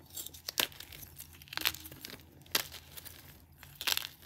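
Solid green-tinted gym chalk chunks resting on a bed of grey chalk powder are gripped in both hands and crushed and snapped with the thumbs and fingers. Dry, bright crunches and sharp snapping cracks stand out over a soft, steady crumbling crackle. Each crack dies away almost at once, and the sound carries almost no low end.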